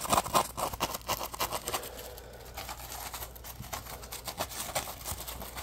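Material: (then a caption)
Polymer foam. A small, dry, yellow-orange Scrub Daddy polymer foam sponge with a textured surface is scratched and squeezed up close with fingertips and short nails. Quick, uneven bursts of crisp scratching and soft squeaky rubbing come loudest in the first two seconds. They then settle into a quieter, continuous, bright scratchy texture with occasional sharper flicks.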